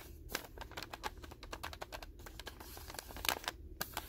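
Fingertips and short nails tap and scratch the white paper wrapper of a solid, densely filled rectangular pack of 200 non-sterile gauze pads with a blue label, lying on a table. Quick, dry, crisp taps and scratchy rustles come in a steady irregular patter, bright and clicky with almost no ring, over a faint low background hum.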